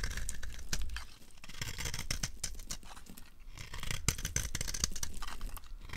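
A solid, dry red rectangular bar of soap is held in the hand while a green-handled utility knife carves and scrapes at its corner. A steady run of crisp, dry scraping and crunching strokes is heard, with bright, gritty edges over a low rumble.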